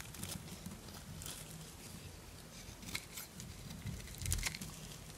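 A small knife scrapes a solid green bar of dry soap held in the palm, shaving off crunchy flakes. Soft, crisp crackling and scratchy scraping run throughout over a low rumble, with a few brighter snaps standing out near the end.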